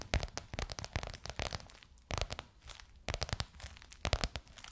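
Long nails tap and scratch a bronze-gold crocodile-embossed faux leather cover stretched over a curved hollow form. Quick, dry taps and scratchy, crinkling bursts come in clusters, with a low hollow thump under a bright crackle, and brief quieter gaps around the second and third seconds.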